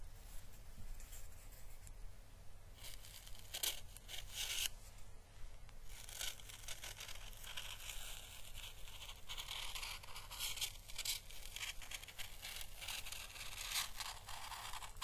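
A small, hollow, dried, pale green papery Chinese lantern (physalis) husk is held in the fingers and slowly brushed with the bristles of a thin paintbrush. It makes a soft, continuous crackling and rustling, with brighter papery bursts over a steady low hum.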